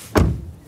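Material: Metal.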